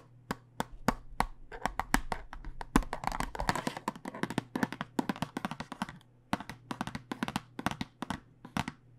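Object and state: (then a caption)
Plastic dice tube tapped. Fingertips and nails tap on a clear plastic tube full of dice with a cardboard end, held horizontally. The taps are short, dry and clicky, coming in quick irregular runs that thicken into a dense flurry in the middle. A faint low hum sits steadily underneath.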